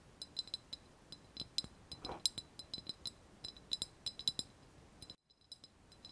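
A small, hollow, white glazed ceramic vase with a wavy relief surface is held in both hands and tapped and scratched with long nails. It makes a quick, uneven run of sharp, bright clinks with a thin high ring that dies away almost at once, plus a short soft scrape near the two-second mark. There is a brief silent gap just past five seconds before a few fainter taps.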